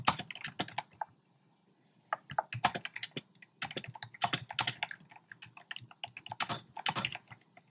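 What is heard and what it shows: Fingertips type on a compact plastic mechanical keyboard with round pastel plastic keycaps set in a dark frame. Quick, bright, short clacks come in rapid bursts, with a pause of about a second before the typing picks up again and continues steadily to the end.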